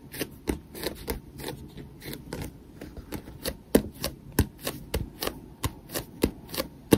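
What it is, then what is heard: Paperback book tapped with fingertips. Fingertips and nails tap and grip the yellow glossy cover and page edges of a small paperback manga held in one hand. About two dozen quiet, short papery taps and riffles come at an uneven pace, each dying away almost at once.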